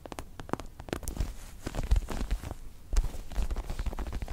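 Long acrylic nails scratch and tap across a small, soft, stuffed star-shaped pillow covered in white and pink pebbled faux leather. Close, muffled low taps and soft thuds mix with brief crackly scratches in a steady, rapid patter, each sound dying away almost at once.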